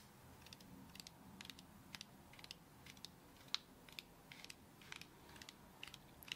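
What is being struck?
Whole brown coconut with fibrous shell, tapped by acrylic fingernails.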